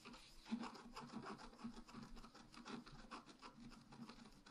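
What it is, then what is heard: Scratch art paper being scratched. A wooden stylus scratches lines into the coating of a flat, black-coated scratch art paper sheet lying on a table. Quiet, dry rasping strokes follow one another in a steady stream, each with a soft scraping texture and little ring.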